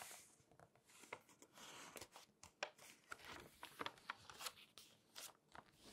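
Palm and long nails rub the pages of an open glossy paper magazine as the pages are turned. Quiet, bright crinkling and rustling is broken by sharp, short paper ticks and snaps, with almost no low end.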